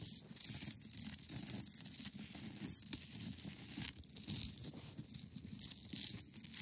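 Long nails scratch down the front face of a hand-sized, solid block of clear ice held at the sides. The result is a steady, bright, rasping scratch with quick crinkly bursts and a soft low rumble underneath throughout.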